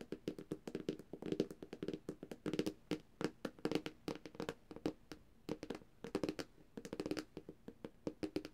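Long, dark-painted fingernails on both hands tap rapidly across the glossy glass screen of a flat black Samsung tablet. The result is a quick stream of short, dry clicks in uneven bursts, each with a hollow tone around 400 Hz and a brief bright tick that dies away almost instantly.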